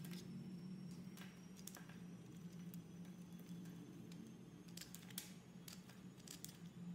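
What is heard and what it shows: A utility-knife blade scrapes and shaves thin curls off the surface of a solid, hand-sized, oval light-blue soap bar with an embossed leaf logo, held in a hand with red nails. Quiet, soft scraping crackles and brief bright ticks ride over a steady low hum.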